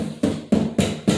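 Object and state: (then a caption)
Solid-sounding dampened stainless steel sink. Four taps on a 20-gauge stainless steel kitchen sink with sound-deadening pads on the back produce short, dull knocks centered low around 200 Hz. The knocks decay quickly with no tinny ring. The sink sounds solid rather than thin, and the pads are credited with absorbing the sound.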